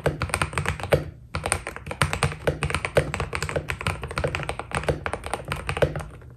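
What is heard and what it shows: Fingertips type steadily on a white Keydous NJ80 mechanical keyboard with PBT plastic keycaps, producing a rapid run of short, crisp key taps with a deep, thocky low body. Each keystroke dies away almost instantly, with a brief pause a little over a second in before the typing continues and trails off softly at the end.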